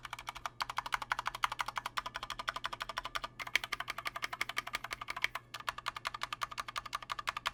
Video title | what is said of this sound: Corsair K65 RGB Mini Review: Too Little; Too Late | the board has a pretty decent tone but it's also got ping for days it sounds hollow and it's really loud